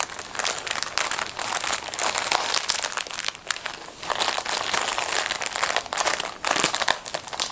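Hands in black fabric gloves grip, crumple and pull at the top seam of a small, full blue plastic film packet of disposable gloves. A continuous, bright crinkling of the plastic film fills the clip, with some tearing and almost no low end.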